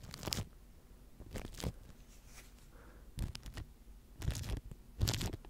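A microphone tightly covered in clear plastic wrap is brushed with a wooden-handled natural-bristle face brush. Short bursts of crinkly, crunching rustle with a heavy low rumble and bright bristle hiss come in separate sweeps between quieter stretches.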